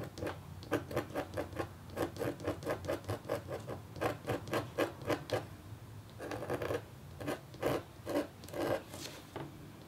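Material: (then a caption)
Copper foil. A red-handled, metal-tipped stylus scratches a flat, black-coated copper foil scratch art board in longer strokes. The result is a steady run of short, dry rasping scrapes with a mid-pitched tone, broken by a couple of brief pauses and a few longer, smeared strokes.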